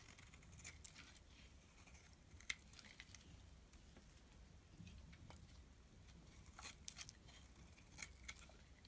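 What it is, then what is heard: Bar of soap being scraped with a knife. A utility knife blade scrapes and cuts brittle flakes from a small, solid black-and-white striped bar of soap held in the hand. Soft, crisp scratching and sharp, bright ticks sound in irregular bursts over a faint low rumble, with a few louder snaps standing out.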